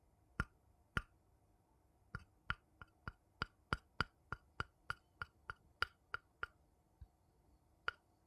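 A small, hollow, empty, light-colored wooden bowl is held upside down in one hand and tapped on its outer base with the tip of a thin wooden stick. Roughly eighteen short, dry, knocking taps come at an uneven pace, each with a hollow mid-pitched tone around 1.4 kHz, a bright click on top and almost no ring. The taps are separated by quiet pauses.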